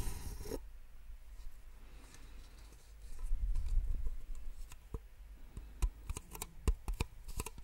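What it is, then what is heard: Plastic cups tapped with nails. Two identical small, empty white plastic drinking cups, held upside down one in each hand near the microphone, are tapped with long nails. Short, dry, bright clicks come irregularly over a soft scratchy rustle and a low background hum, growing more frequent toward the end.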